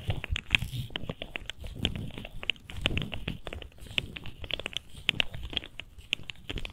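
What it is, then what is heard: Plastic fidget slug toy. A colorful articulated plastic fidget slug, a hollow segmented toy, is held in both hands and flexed with the fingertips so its segments click. It gives a rapid, uneven run of short, dry, bright clicks and crackles centered around 2.5 kHz, over soft low handling thumps.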